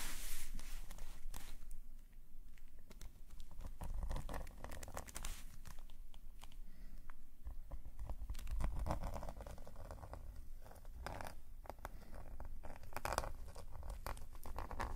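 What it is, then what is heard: Metal pen nib scratching on paper. A metal calligraphy nib on a wooden holder scratches dense hatching strokes across a black paper sketchbook page. Quick, irregular scratchy strokes run continuously over a low, steady rumble, with brief brighter bursts of crinkly friction.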